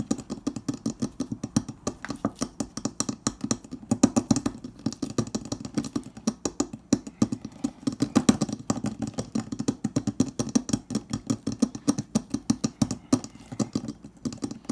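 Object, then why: Stainless steel refrigerator door. The edge of a hollow, insulated stainless steel refrigerator door is tapped rapidly with the fingertips and nails of both hands. The result is a steady stream of short, dry taps with a hollow, mid-low tone and a faint bright click from the nails, each hit dying away almost instantly.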